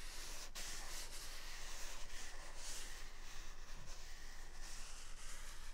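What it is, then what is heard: Paper toilet roll being rubbed. A single large white paper toilet roll with a hollow core is held near the right microphone and rubbed with the thumb and fingers over its soft outer paper surface. A continuous, quiet, breathy rubbing hiss with some high, airy texture sits over a steady low rumble, with a brief sharper scratch early on.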